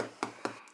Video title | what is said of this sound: Заливной Хлеб без замеса, всё просто! | 빵이 너무 둔탁한 소리가 나는 경우가 가끔 있는데 깡통빵을 오븐에 다시 5분 더 돌려 바닥을 조금 더 굽는데